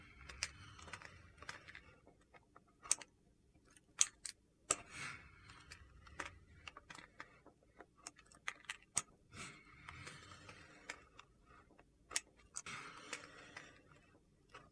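The edge of a large, solid white soap slab is shaved with a red-handled vegetable peeler, producing curls. Quiet, bright scraping strokes alternate with crisp, sharp ticks and clicks.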